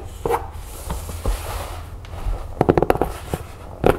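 Long nails scratch and tap the sides of an empty rectangular fabric storage bin with a chevron print, made of cloth over a stiff board frame and held in both hands. Soft, dull scratching runs over a low rumble, broken by short muffled taps with no ring, including a quick burst of rapid taps near the end.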